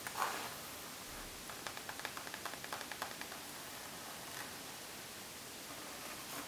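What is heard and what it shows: Long nails scratch and tap the pebbled surface of a rose gold faux leather makeup bag, first lying flat and then held up in both hands. A brief bright scratch opens the clip, followed by a quick run of light, crisp taps over a faint hiss. The sound then settles into quiet, soft rustling.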